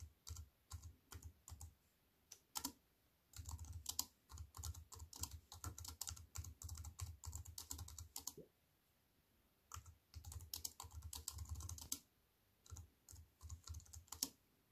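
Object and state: Aluminium and plastic computer keyboard.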